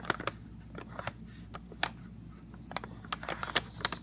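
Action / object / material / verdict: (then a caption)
tap / cardboard snack box / cardboard / none. Fingernails and fingertips tap and scratch the printed face of a rectangular, hollow Sun Tropics CocoRolls cardboard box. About a dozen sharp, irregular clicks and brief scratches sound over a quiet, steady low hum.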